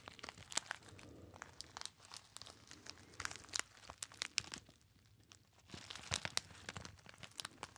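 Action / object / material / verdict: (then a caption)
scrape / metallized foil pouch / metallized foil / none. A small, hollow, apparently empty gold metallized foil pouch is crinkled and squeezed by fingertips. It gives off dense, bright, crackling crinkles with sharp snapping peaks. The crinkling eases into a quieter stretch midway, then picks up again toward the end.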